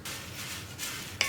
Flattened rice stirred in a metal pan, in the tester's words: അവൽ ഇളക്കിക്കൊണ്ടിരിക്കുമ്പോൾ ഇതുപോലൊരു കിലുങ്ങുന്ന ശബ്ദം കേട്ട് തുടങ്ങും